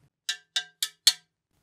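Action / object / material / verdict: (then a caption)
tap / carbon fibre bike fork / carbon fibre / dense. Four hammer taps on a very dense section of a carbon fibre road bike fork give short, bright, high-pitched clinks that die away almost at once. The sound is normal for a dense spot on the fork.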